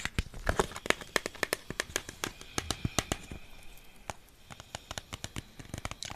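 A yellow Pringles can, a hollow composite cardboard tube holding chips, is held up while fingertips and nails tap along its side. About thirty quick, dry, clicky taps follow one another unevenly, each with a sharp attack and almost no ring, over a faint crinkly background.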